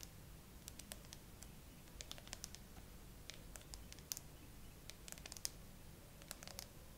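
Long acrylic nails tap slowly and fingertips brush across the flat frosted glass back of a gray iPhone with no case, mounted on a tripod. Quiet, irregular, bright clicks and short scratchy brushes sound over a steady low background hiss and rumble.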